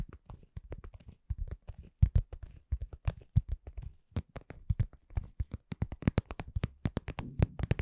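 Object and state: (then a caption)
Cosmetic pouch. A cosmetic pouch is tapped at a slow to medium pace, with no talking, producing about 36 soft, dull, low thuds that die away almost instantly. Later taps add brief brighter clicks over the muffled low body of the sound.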